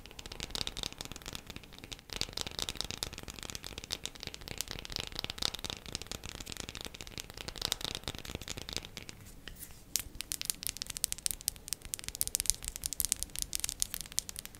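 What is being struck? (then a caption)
Bar of soap. A bar of soap is tapped quickly with the fingernails, making a dense stream of dry, bright clicks with almost no ring. Past the midpoint the tapping thins out into sparser, sharper and louder high clicks.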